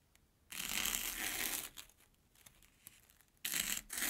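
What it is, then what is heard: Corn puff snack cut with a knife. An airy Banana Kick corn puff stick resting on an orange plastic board is sliced with a steel kitchen knife. A long, bright, crisp crunch is followed by faint scattered crackles, then a second loud crunching burst near the end.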